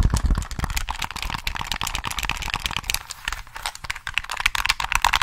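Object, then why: Plastic game controller shell and buttons. Fingertips tap the shell and press the buttons of a hollow black plastic PS3 controller held in both hands. The result is a steady stream of quick, dry plastic clicks and taps with a bright top and some low thuds.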